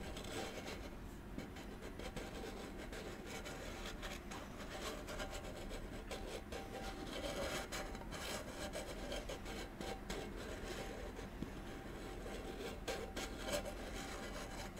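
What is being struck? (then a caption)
Small metal candle tin with lid. A small, round, palm-sized gold metal candle tin with a lid is held in the hands while fingertips and short nails rub and scratch along its side. The result is a steady, soft rasping and scraping texture with faint metallic brightness and a low, even level throughout.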